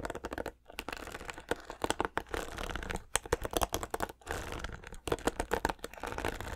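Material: Plastic.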